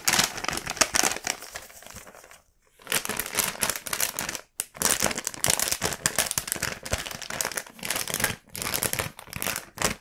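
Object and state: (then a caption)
Paper bag being crinkled. A small, empty black paper gift bag printed with a cat face is held in both hands by the fingertips, then unfolded, opened and creased. The paper gives off dense, bright crinkling in bursts, with brief near-silent pauses around 2.5 s and 4.5 s. Nearby candy packs are left untouched.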